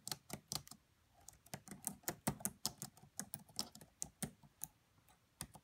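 Both hands with long French-manicured nails tap the black plastic chiclet keys of a red laptop with a hollow body, typing quietly with their fingertips. Around 21 short, sharp clicks come at an uneven pace, each bright with a soft, hollow low thump underneath and dying away almost at once.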